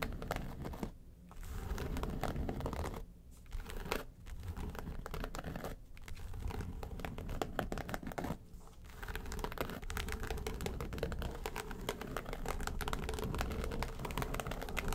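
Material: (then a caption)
Faux leather. Long nails tap and scratch the lid of a flat, hollow yellow case covered in textured faux leather. The result is a dense, crinkly, low-weighted scratching with fast taps, broken by a few brief pauses.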